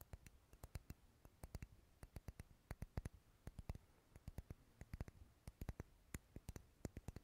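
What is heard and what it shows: Fingernails tap and scratch a dark red solid wax pillar candle held close, giving a quick, irregular run of short, dry clicks. Each tap is sharp and dies away almost instantly, set against a quiet low background.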